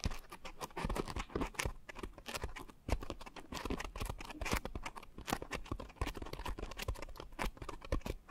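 Long nails scratch and tap a pink coarse foam scrub sponge with a white foam layer wrapped around microphone capsules. The result is a quiet, dense run of short, dry scratchy taps and rustling bursts, with a muffled low-end thump under brief bright crackles that die away almost instantly.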